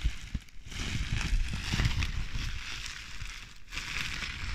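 A clear plastic bubble wrap sheet full of air bubbles is squeezed and crinkled by hands and moved beside the microphone. It makes a continuous crushing, crackling crinkle with a bright, hissy upper layer over low, rumbling handling noise. The sound briefly drops away twice before resuming.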